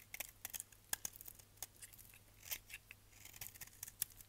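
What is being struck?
Bar of soap shaved with a blade.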